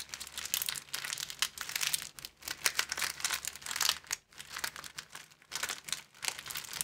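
An empty, thin clear plastic film sleeve is held in both hands and repeatedly bent into a V shape and back. It gives dense, bright crinkling in rapid bursts with brief pauses, with almost no low end.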